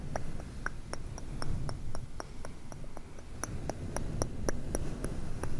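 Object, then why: Synthetic fur microphone windscreen. Fingertips and nails of both hands scratch and squish a soft, hollow, grey fluffy synthetic-fur windscreen over a microphone throughout. The result is a dense, muffled low rumble of rubbing, punctuated by a steady run of short, crisp ticking clicks that reach up into a high, bright range.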